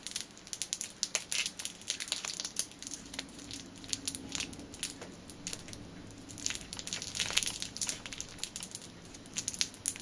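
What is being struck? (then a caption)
Clear plastic bag holding a rubber band. A clear plastic bag holding a black rubber band is crushed and crinkled between the fingertips and nails. Dense, bright crackling crinkles come in quick bursts with very little low end. The sharp snaps die away almost instantly over a faint steady background hum.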